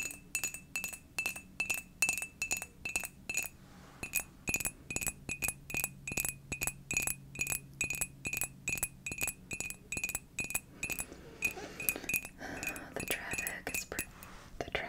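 Long dark nails tap quickly and unevenly on a pale pink ceramic coffee mug with a Sagittarius constellation print, which is hollow and appears empty. Dozens of bright, glassy clinks ring at a clear tone of about 2.5 kHz and die away almost at once, over a quiet, faint background.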